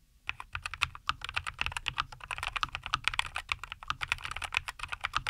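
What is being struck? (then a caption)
Mechanical keyboard with plastic keycaps. Both hands type continuously with their fingertips on a compact 75% NuPhy Air75 V2 mechanical keyboard, which has a white case, green and white plastic keycaps, and linear Cowberry switches, resting on a wooden desk. About 37 quick, bright, clacky keystrokes are heard, each dying away almost instantly, with very little low end.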